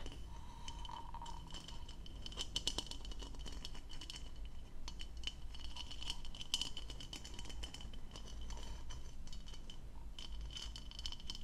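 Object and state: Plastic goblet.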